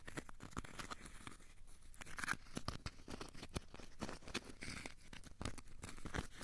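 A small, solid, crumpled ball of aluminium foil is held in both hands and squeezed and scratched with the fingertips. The result is a quiet, continuous stream of dense, crinkly crackles and short scratchy ticks, with brief, dry transients that stop almost instantly.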